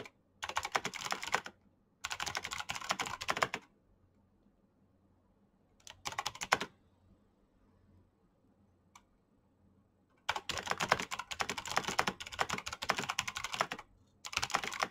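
Fingertips type quickly on a black plastic mechanical keyboard with clicky switches, producing dense bursts of bright, sharp key clicks. The typing comes in separated runs with quiet pauses between them, ending in a long continuous stretch.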